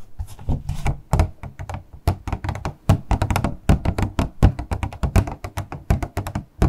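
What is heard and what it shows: Long nails tap and knock on the flat faces of a small, hollow, transparent purple plastic packaging box as it is tilted and turned in the hands. Quick, irregular runs of short, dull, hollow thunks and taps that die away almost instantly, each with a faint brighter click on top.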